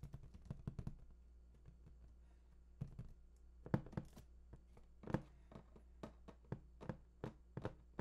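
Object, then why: Large printed cardboard box. Fingertips tap and scratch the lower front face of a large, hollow, printed cardboard PS4 console box. About two dozen soft, dull, low taps land in irregular clusters with brief pauses between them. Each tap dies almost at once, with faint scratchy rustles in between.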